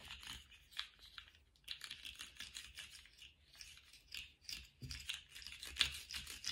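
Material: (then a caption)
Plastic. Lace-gloved hands wiggle and flex a small colourful plastic slug fidget toy, so its hollow, jointed ring segments click against each other. The result is a quiet, steady stream of bright, crisp clicks and rattling ticks, each dying away almost at once, with little low-end weight.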